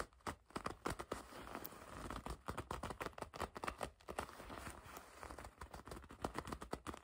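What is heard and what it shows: A dark leather jacket is bunched in the hands while long red nails grip and scratch the soft leather. Quick, crackly squeaks and rustling scratches come in a dense, uneven run of short bursts with a low, soft background between them.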